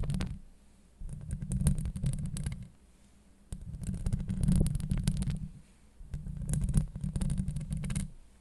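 Long acrylic nails scratch the steel mesh grille of a Blue Yeti microphone from both sides, producing a deep, rumbling, close-up scraping with bright crackly ticks. The scratching comes in four bursts of a second or two, separated by short quiet pauses.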